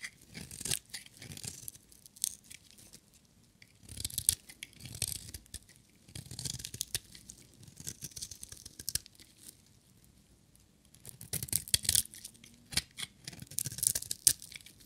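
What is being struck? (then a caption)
Bar of soap shaved with a knife blade. A metal utility knife blade shaves a solid, dry yellow bar of soap with colored stripes. Bursts of bright, crisp scraping and crunching come in quick strokes, separated by short quiet pauses.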